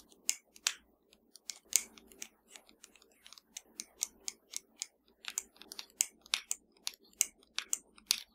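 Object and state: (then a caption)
Plastic remote control. Long matte nails tap and click across the rubber buttons and casing of a flat, hollow, black plastic TV remote lying on a dark surface. About 23 short, sharp, bright clicks come in an irregular rhythm, each dying away almost instantly, over a faint low hum.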